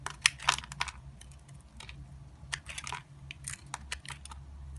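A solid white bar of soap with a yellow inlay, held in the hand, is carved with an orange-handled utility knife. The clip is a run of short, crisp scraping and cutting clicks, bright and dry, over a faint low hum. The clicks are sharpest at the start and come in quick bursts.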